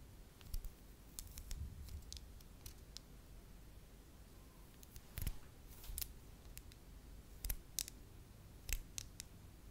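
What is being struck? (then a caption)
Small wax ball. A small, solid beige soft wax ball is tapped, clicked and scratched with long acrylic nails. Quiet, scattered sharp clicks with bright, crisp tops ring out over a low, rumbling background, with a few louder taps standing out along the way.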